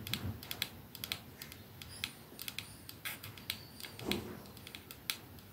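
Fingernails of the hand holding a 212 capsule perfume bottle, made of glass with a silver band and resting in one palm, tap rapidly on it. The result is a quick series of short, bright, clicky ticks with almost no ring, pitched around 3.4 kHz. A couple of duller, fuller knocks stand out near the start and around the four-second mark.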